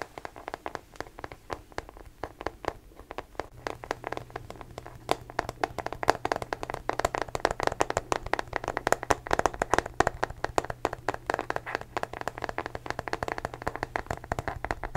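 A small, hollow, blue matte rubberized plastic case is held close to the microphone and tapped and scratched with fingertips and nails. The result is a rapid, dense stream of short, dry clicks and taps centered around 700 Hz, with a steady low hum entering from about 3.5 seconds on.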